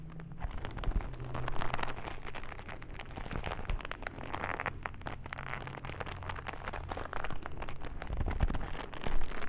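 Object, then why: Leather glove. A black leather glove is held upright in bare hands while fingers rub and crumple its leather surface. A steady stream of soft, dense crinkles and crackles is heard over a low, rumbling undertone. The sound stays fairly even, swelling slightly near the end.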